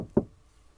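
The rear door of a VW Tiguan R-Line eHybrid, with a steel body, is shut once. It makes a single low, dull, full-sounding thud centered in the low-mids with almost no high content, which dies away quickly. It sounds solid, just as good as the front door.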